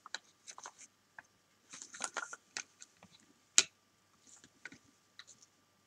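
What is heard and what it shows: Several large hollow plastic toy bricks resting on a sofa are stacked and pressed together with long painted fingernails and fingertips. The result is a scattered series of short, dry, bright clicks and light knocks with almost no ring or low end, and one sharper, louder click stands out near the middle.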